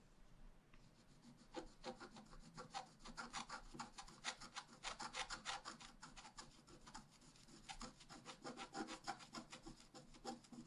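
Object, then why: Coated scratch-art paper card scratched with a wooden stylus. A wooden stylus point is scratched across a flat A4-size scratch-art sheet with a black coating over a rainbow layer, lying on a table while the other hand holds the sheet. The result is a quiet, steady run of short, dry, bright rasping strokes at about three per second, each stopping with no ring.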